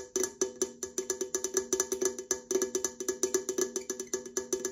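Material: Aluminum.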